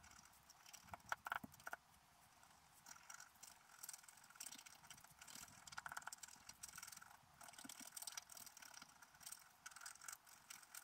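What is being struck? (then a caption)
Black-coated scratch art paper scraped with a wooden stylus. A wooden stylus scratches the black coating at the bottom of a flat scratch art sheet lying on a table. Quiet, dry, bright scraping strokes come in irregular bursts with a faint tonal edge near 1.4 kHz, and a few sharper ticking clicks stand out early on.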